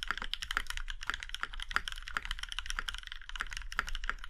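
Fingertips of both hands type steadily on a compact Iron 165 mechanical keyboard with a plum-red aluminum case and black keycaps. The result is a quick run of short, crisp clacks that ring around 1.4 kHz with bright tops, over a low background rumble.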